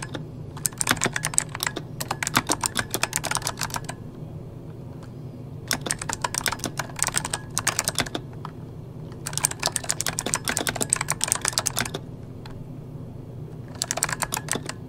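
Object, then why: Mechanical keyboard with plastic keycaps. Fingertips of both hands type on an RGB-backlit mechanical keyboard with plastic keycaps, producing rapid bursts of sharp, bright clacking keystrokes separated by short pauses. A steady low hum sits underneath throughout.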